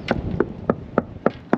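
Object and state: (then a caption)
Sound fiberglass deck laminate. Six short, dry knocks on a fiberglass boat deck laminate, tapped just past a doubtful area, each a quick mid-pitched thud with almost no ring. This spot sounds solid again.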